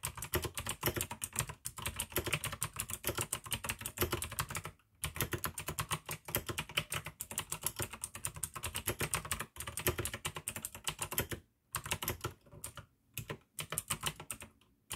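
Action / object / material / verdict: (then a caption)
tap / plastic mechanical keyboard / plastic / none. Fingertips type fast on the keycaps of a full-size pink AUKEY plastic mechanical gaming keyboard with RGB backlight, clicky blue switches and a hollow case. It makes a dense, steady stream of bright, sharp clicks over a hollow low thock, broken by a few brief pauses.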